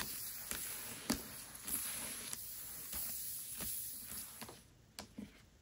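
A Mistborn paperback book lies flat while long nails tap and scratch across its glossy card cover. Sharp, bright clicks stand out over a steady, airy scratching hiss that grows quieter toward the end.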